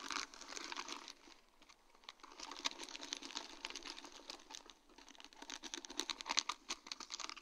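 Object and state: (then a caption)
Acrylic rhinestone sheet tapped and scratched with nails. A sheet of large, round, faceted acrylic rhinestones on a plastic mesh backing is tapped and scratched with long, dark-painted nails. Dense, bright crinkly scratching mixes with quick, sharp clicky taps that die out instantly, with a quieter stretch in the middle.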